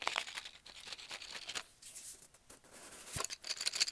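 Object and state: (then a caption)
Cardboard tube. A brown cardboard tube, filled with colored pencils at its open end, is held while fingernails tap and scratch along its length and at its end. Quick, irregular, dry scratches and crinkly taps are heard, bright and high with almost no low end and very short decay.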